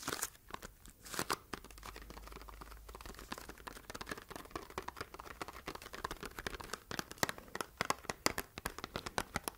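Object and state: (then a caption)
Cardboard box. A small, hollow, rectangular red printed cardboard box is held in both hands while long red nails tap and scratch its flat sides. Quick, dry taps and scratchy rustling come in close bursts, with crisp, bright clicks and almost no ring, growing denser and sharper toward the end.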